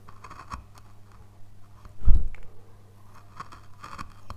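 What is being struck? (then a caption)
Basswood relief carving panel. A narrow steel carving tool scrapes and cuts small details near the tower on a flat, solid, light-wood basswood relief panel carved with mountains and a tower, while gloved fingers hold it steady. Faint, dry scratching ticks sit over a steady low hum, with one louder, thicker scrape in the middle of the clip before it settles back to quiet cutting.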